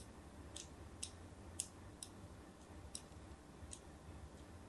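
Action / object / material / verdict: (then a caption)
scrape / bar of soap / soap / none. A fine craft blade scores shallow diagonal lines into the surface of a solid white rectangular bar of soap held in a hand with long pink nails. Six short, crisp, bright scratching clicks stand out quietly over a faint low, steady rumble, each one dying away almost instantly.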